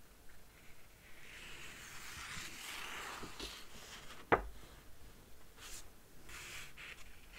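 Fingertips with dark-painted nails slide over and rub the paper pages of a large illustrated Harry Potter book lying open, making soft, airy brushing and friction sounds. One sharp, brief tap stands out near the middle, and the page is then turned with a light papery rustle against a quiet background.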